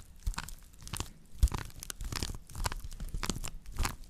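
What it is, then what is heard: Woven straw plate scratched. Long nails scratch across the weave on the underside of a round woven straw plate held by its rim. Irregular dry, crunchy scratching and crinkling strokes come in uneven bursts, with bright texture over soft low thumps.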